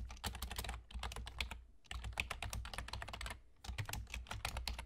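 Rapid fingertip typing with short nails, using both hands, on a full-size black plastic computer keyboard with German key labels and hollow keys. It produces fast, dry, clicky taps with a bright top end and a low thud underneath. The typing comes in three bursts separated by brief pauses.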